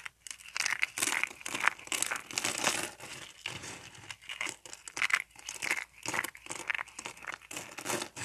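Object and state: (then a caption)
Dry soap bar crumbling. A layered pink and white dry soap bar is broken into thin flakes with fingertips. Bursts of crisp, bright crinkling and crunching come one after another, with sharp snapping flakes and almost no low end.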